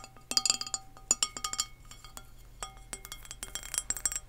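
An empty pink glazed ceramic serving dish with three shallow flower-shaped bowls is tapped with long nails, giving quick, bright clinks with a high ringing tone that dies away almost at once. Faster bursts of taps come in clusters, with quieter tapping in between.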